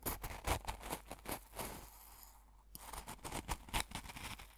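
A metal fork pokes and stirs the crystals in a small open glass jar full of coarse salt, producing quick, irregular crunchy scrapes and gritty clicks with bright, rough texture. The crunching briefly softens to a faint hiss in the middle before the sharp pokes resume.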